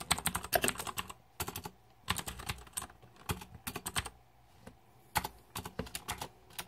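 Fingertips type on the plastic keycaps of a green-backlit Razer 2014 Deathadder mechanical keyboard. Quick bursts of sharp, bright clicks come in uneven flurries separated by short pauses, each keystroke dying away almost instantly.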